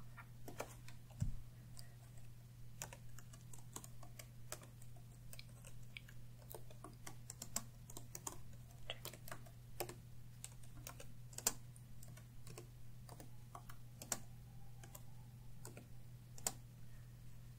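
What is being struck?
Plastic laptop keyboard.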